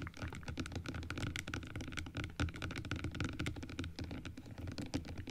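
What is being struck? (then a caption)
Plastic dental teeth model. Long acrylic nails tap quickly on the plastic teeth of an open dental teeth model, producing a dense stream of short, dry clicks. Each tap dies away almost instantly, leaving a soft, rapid pattering with a faint steady tone underneath.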